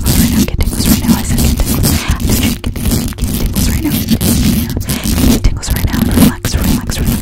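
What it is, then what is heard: Metal microphone grille being scratched. Long acrylic nails on both hands scratch quickly over the hollow metal mesh grille of a black condenser microphone. The result is a dense, continuous rasping scrape that is heavy in low rumble, with only brief dips in the steady texture.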